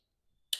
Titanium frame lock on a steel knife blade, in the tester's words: you can hear that lock stick